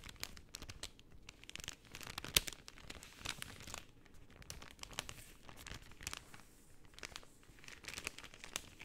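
A sheet of pink translucent cellophane film is folded and crinkled by fingertips and nails. It makes a steady, quiet stream of bright, crisp crackles with quick snaps, and one sharper pop stands out a little over two seconds in. There is little low-end body and each crackle stops almost at once.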